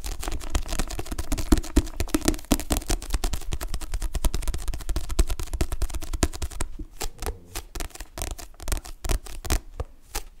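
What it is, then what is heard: Paperback book cover tapped with nails. Long nails tap and scratch the glossy card back cover of a solid paperback book. A dense stream of dry, quick clicks and scratchy rustling runs for most of the clip, heavy in the low end. Near the end it thins into sparser, separate taps.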